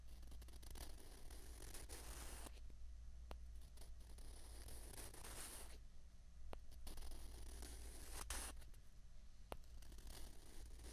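Two small, hollow white plastic ping pong balls are held together and rubbed and scraped against each other with the fingers. Bursts of dry, bright, scratchy friction are broken by brief sharp clicks, over a steady low hum.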